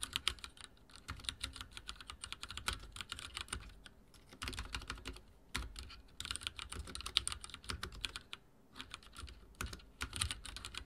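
Fingertips of both hands rapidly type on a full-size backlit mechanical keyboard with dark plastic keycaps and linear switches, resting on a wooden desk. A steady stream of short, bright key taps with a soft low thud beneath comes in bursts separated by brief pauses, each tap dying away almost instantly.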